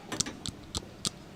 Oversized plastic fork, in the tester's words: it is plastic sounds like plastic